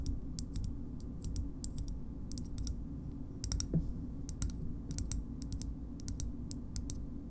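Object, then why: Small hard plastic shoehorn. A small, hard green plastic shoehorn is tapped with long nails in a slow, steady run of short, bright clicks that die away almost instantly. A constant low rumble sits underneath the taps throughout.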